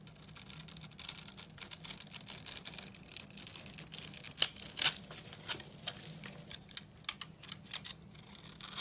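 A steel utility knife blade scrapes and scores a solid blue oval bar of dry soap held in the palm, producing a rapid run of crisp, bright scratching crunches. The strokes build to a couple of louder sharp cracks midway, then thin out into sparser, scattered scrapes with little low end.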